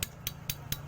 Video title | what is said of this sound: TUTORIAL CARA MENGETAHUI SETANG SEHER RX-KING YANG SUDAH AUS | suaranya kasar ya kalau dipukul